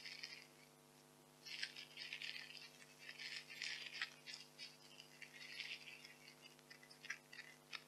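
White expanded polystyrene packing peanuts are squeezed and rubbed in hands with long nails, giving soft, bright squeaks and crackling creaks in uneven bursts. A faint steady low hum runs underneath the whole quiet clip.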